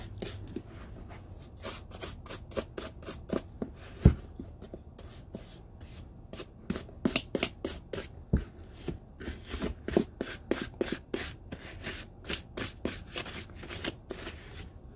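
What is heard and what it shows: A small wooden-handled bristle dauber brushes across the upper and sole edge of a hollow, empty brown leather Red Wing Iron Ranger work boot as it is turned over by hand. Quick, dry, bristly scratching strokes follow one another in a steady series over a low, soft rumble, with a couple of duller handling knocks as the boot is moved.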